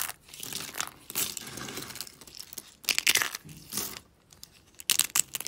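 Thin, brittle, dry soap shards in pink, teal and green are snapped and crumbled between fingers with long pink nails. The result is bright, dry crackling and crunching with almost no low end, coming in several dense bursts with the loudest snaps near the middle and end.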